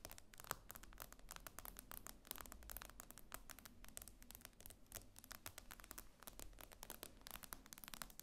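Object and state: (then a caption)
Glass tablet screen. Fingernails from both hands tap and scratch quickly across the glass screen of a tablet lying flat. The result is a dense, quiet stream of sharp clicks and scraping strokes over a faint low hum.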